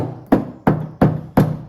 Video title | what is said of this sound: 10 Things I HATE about the 2023 Honda Pioneer 700-4 | The door, super hollow. I feel like if you wanted to, you could just smash this in.